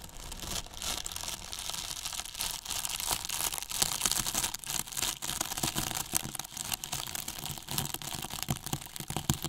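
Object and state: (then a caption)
Foam box brushed and scratched. Two paintbrushes brush and scratch the top and side of a large white hollow polyethylene foam box with a microphone inside. The result is a steady, dense run of bright, dry scratching and crackling strokes with quick, short-lived accents and a soft low rumble beneath.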